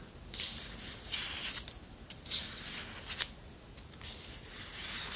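Long nails scratch along the handle of a long, thin, solid wooden spoon, making bright, dry rasping strokes in quick bursts. Each scrape is mostly high hiss with almost no low end, and the strokes stop cleanly with no ring.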